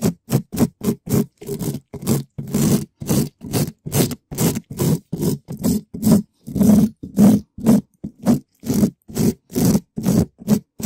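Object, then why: Metal mesh microphone grille. A gloved hand scratches a red spiky rubber ball across the surface of a black metal mesh microphone grille, a hollow dome, in fast strokes. Each stroke is a short, separate burst of rough, crackling scrape with a heavy low-mid rumble and a little brighter hiss, repeating about twice per second at a slightly uneven pace.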